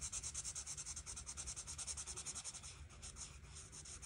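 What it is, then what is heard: Marker rubbed on paper. A felt-tip marker is rubbed back and forth over a flat paper coloring book page, filling in flower petals with red. The result is a steady, quick series of soft, bright scratchy strokes. The strokes pulse about three times a second with little low-end weight.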